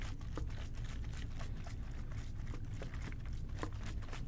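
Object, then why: Plastic trigger spray bottle. A medium-size, hollow OxiClean plastic trigger spray bottle, its liquid content not visible, is held in both hands and tapped with fingertips and short nails. Quick, soft, dull taps with faint bright clicks run in an irregular patter over a steady low rumble, each tap dying away almost at once.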